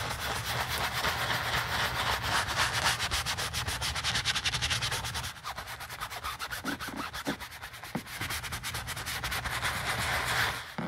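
A gloved hand scrubs foam into the flap of a black leather handbag resting on a towel, using a small wooden-handled brush. Quick, steady brushing strokes give a bright, hissing rub over a low hum. After about five seconds the scrubbing turns softer and sparser.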